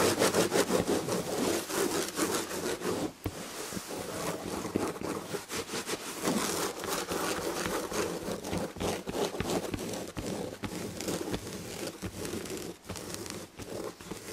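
Long red nails of both hands rapidly scratch the chenille upholstery on the back of a fabric chair. The result is a dense, continuous scratchy rasping with a bright, hissy texture and a slightly fast, uneven rhythm. It stays steady throughout, with only brief dips in level.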